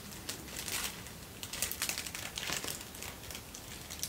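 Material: Paper.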